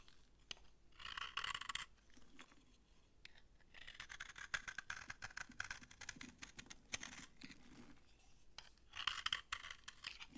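A utility knife blade scrapes crumbly shavings off a solid, dry orange bar of soap held in the hand. Dry, crunchy scraping comes in bursts of high, bright crackle, with the loudest strokes early and near the end.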